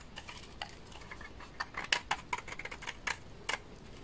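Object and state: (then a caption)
Dry laundry soap bar. A large, solid beige bar of dry laundry soap is shaved with a utility knife blade, curling off shavings. About fifteen short, crisp scraping clicks come in an irregular rhythm with bright, high-pitched edges and almost no ring between them over a quiet background.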